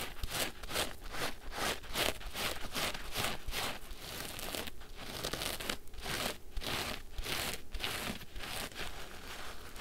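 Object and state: Soapy foam sponge being squeezed.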